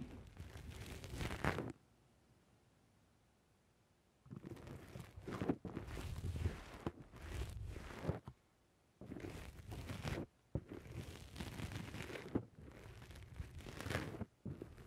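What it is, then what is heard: Foam microphone windscreen being squished. Fingertips press, squish and rub a soft, porous black rounded foam windscreen on a microphone, making close, muffled crunching and rustling. The sound comes in several bursts separated by near-silent pauses, heavy in low rumble with a faint bright, crinkly edge.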